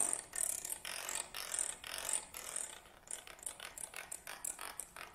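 A black stick-like tool held upright is scraped along the teeth of a wooden comb lying on a table, producing rapid, bright clicking with almost no low end. The first few seconds are longer, smeared scraping strokes, followed by shorter, more separated clicks in an uneven rhythm.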